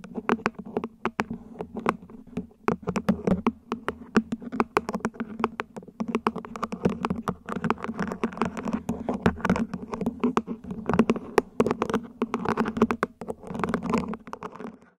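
A small, hollow, mint-green ribbed plant pot, probably plastic, sits upside down while long nails tap and scratch across its top and ribs. The result is a rapid, uneven stream of short, dry clicks and raspy scrapes with almost no ring, carried over a steady low hum.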